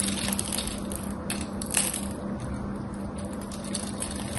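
A solid cream-colored soap bar with a gold painted coating, held in both hands with long white nails, is scraped and shaved with a metal craft knife so crumbly flakes come off. A continuous dry, crackly scraping with bright hiss runs throughout, over a steady low hum.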